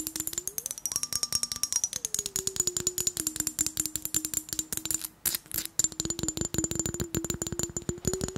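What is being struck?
Glass mason jar partly filled with water.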